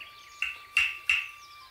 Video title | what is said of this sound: Nyitott szemmel 2. - Kedves dinoszauruszok | És most kiveszem a dugót, és mindjárt más lett a hangja.